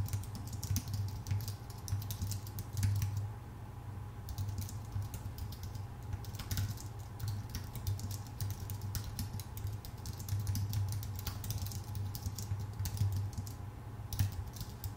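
A full-size white Apple Magic Keyboard with plastic keycaps on a thin aluminum body is typed on with the fingertips of both hands. A steady run of quick, light key clicks lands over a constant low hum around 98 Hz, with short bright taps that die away almost at once.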